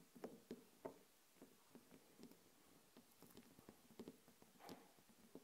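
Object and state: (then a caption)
Glass candle jar. Long nails tap on a small glass candle jar with a glass lid, filled with wax and standing on a table. The result is an irregular series of quiet, short, clicky taps with a dull midrange tone and brief bright edges that die away almost at once.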